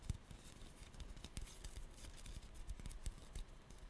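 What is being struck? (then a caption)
Small dried-clay pumpkin. Long glittery nails tap and scratch a small, orange, glossy dried-clay pumpkin, apparently solid, held in the hand. A quiet, steady run of short, dry clicks with bright edges and soft low knocks is heard, each dying away almost at once, with faint scratchy texture between the taps.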